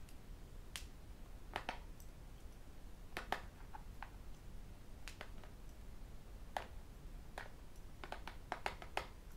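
A thin, flat tablet with a glass screen and aluminium back, held in one hand, is tapped on its edge and screen with fingertips and metal rings. Sharp, bright clicks and taps come at irregular intervals, some in quick pairs and clusters, each dying away almost at once. They sit over a quiet, steady low background noise.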